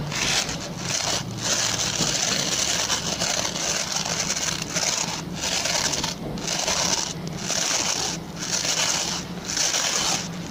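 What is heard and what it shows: Fingertips and short nails scratch and rub across the stubby plastic pin bristles of a hand-sized, oval white plastic brush with a solid body. The result is a steady, bright, crackly scratching hiss, broken by brief pauses about once a second, over a faint low hum.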